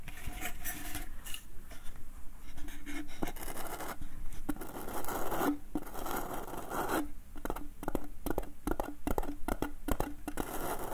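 Fingertips tap the outside of a small, empty, hollow wooden bucket, giving short, dry knocks with a hollow tone around 320 Hz. Fingernails then scratch across the inside bottom of the bucket, producing a steady, rough scraping texture broken by quick taps.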